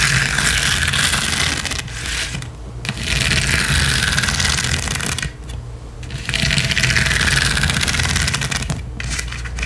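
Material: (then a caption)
Metal, rhinestone. Long acrylic nails on both hands scratch quickly and hard across a flat gold rhinestone mesh sheet, making a dense, bright, rattling scrape with a steady low hum underneath. The scratching runs almost continuously, easing briefly at about 2, 5.5 and 9 seconds before picking back up.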